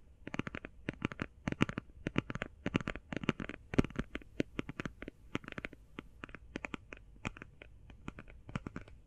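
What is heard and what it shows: Long painted fingernails quickly tap and scratch the closed lid of a flat, rectangular, hand-sized cardboard eyeshadow palette with a printed "Dream St." marble-pattern cover. The result is a rapid, uneven run of short, dry, papery clicks and scrapes with a soft low thump beneath them. Each hit dies away almost instantly.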